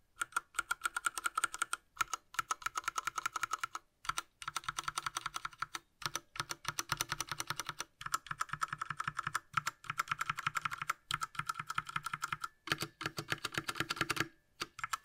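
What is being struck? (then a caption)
Plastic mechanical keyboard. Gloved fingertips press the keys one by one on a Ducky Mecha Mini Frozen Llama Edition, a small 60% mechanical keyboard with a light blue plastic case and plastic keycaps, lying flat. The result is rapid bursts of short, crisp plastic clacks with a bright, clicky midrange tone, separated by brief pauses throughout.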